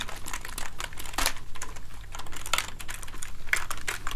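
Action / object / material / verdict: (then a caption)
tap / plastic keyboard keys / plastic / none. Fingertips press a soft cleaning gel into the keys of a hollow plastic gaming keyboard held up in front of the body, making the keys clack. Quick, irregular clicks and bright, sticky crinkling come in short bursts over a steady low hum.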